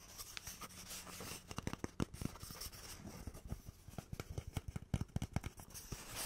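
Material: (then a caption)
Cardboard. A cardboard tube is tapped and scratched, giving a quick run of short, dry, hollow taps mixed with soft scurrying scratches. The taps are low and thumpy, die away almost instantly, and come irregularly throughout.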